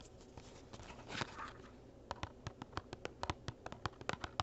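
Fingertips and nails scratch and rub the sides of a small, hollow, printed cardboard gift box holding cork coasters, held in both hands, making a soft, dry rustle. Then comes a quick run of sharp, clicky taps on the box, each dying away almost instantly with a light hollow knock.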